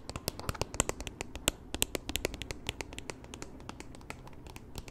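Long nails tap and scratch the flat, solid plastic back of a black Kindle-style e-reader with a phone grip on the back, held in both hands. About thirty quick, dry clicks come in an uneven rapid patter, each bright and sharp with no ring, over a faint low hush.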